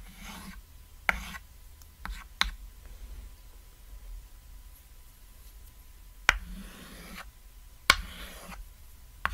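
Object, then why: Small thin chalkboard and chalk. A small, thin, flat cat-shaped chalkboard lying on red fabric has a ladder drawn on it in white chalk using repeated short strokes. Scratchy, rasping chalk strokes come in bursts, punctuated by six sharp clicks and taps against a quiet background.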